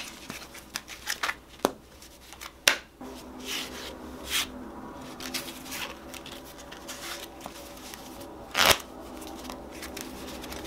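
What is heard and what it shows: Fingertips shuffle and square up a hand-sized, solid stack of purple foil-backed paper playing cards, rubbing and sliding the cards against each other. About ten sharp, bright riffling snaps stand out over a soft, steady papery hiss of sliding cards.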